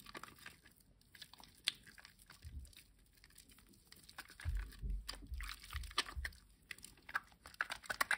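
A green, solid rectangular bar of household soap, already soapy, is rubbed and gripped in both bare hands over a basin of water. Quiet, crisp crackles and squelching clicks come in uneven bursts, with soft low thuds underneath. The bursts grow busier toward the end.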